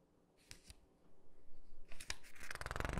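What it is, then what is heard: Glossy paper catalog. Flat palms and fingertips rub across the spread of an open glossy paper catalog, then a page is lifted and turned. Two soft ticks give way to a swelling papery rubbing, ending in a loud, bright, crinkling rustle as the page turns.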